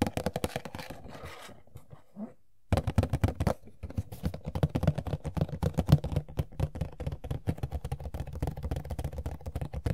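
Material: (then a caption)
Cardboard. Long fingernails tap and scratch the back panel of a small, hollow, empty Funko POP printed cardboard box for Sailor Pluto (#296). Rapid, irregular dull taps with a low, hollow thump mix with soft scratching. They pause briefly near the two-second mark, then resume in a steady, denser stream of quick clicks.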